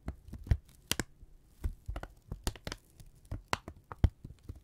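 A thin brown kraft paper strip, held in both hands, is crumpled and stretched with the fingertips. It gives quick, dry crinkles and snaps over a low, soft rumble, with a few sharper, brighter crackles standing out.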